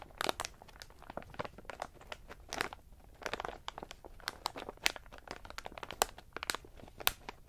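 A medium plastic snack bag full of in-shell pistachios lies flat while index fingertips tap and press on its clear window, crunching the shells against the plastic. The result is a quiet, irregular run of short, bright crinkling crunches with brief pauses and almost no low end.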